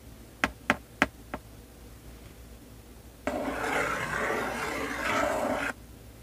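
Fingertips and nails tap four times on the front face of a sealed, medium-size printed cardboard LEGO Star Wars 501st Legion set box (75280), hollow and full of bagged bricks, lying flat on a baseplate, each tap a short, dry knock. After a pause, they rub across the face in a steady, brushing scrape of about two and a half seconds that is bright and rough.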